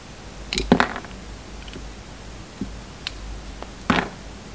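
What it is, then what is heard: Bar of soap being shaved. A bar of soap with a red coating, now worn down mostly to its pink inside, is shaved with a metal utility knife blade. Six short, crisp scraping cuts with a bright, crackly edge are heard, three close together at the start and the rest spaced out, with quiet pauses between them.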